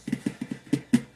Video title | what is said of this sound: Mandolin repair parts one | it doesn't sound too brittle. Like, it doesn't sound like it's too brittle or anything like that.